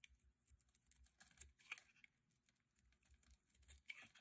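A metal utility blade shaves long curls off the surface of a hand-sized blue bar of dry soap held in the hands. Quiet, dry, crisp scraping with rapid crackling ticks sits mostly in the bright high range, with little low end. Each tick stops almost at once, with no ring.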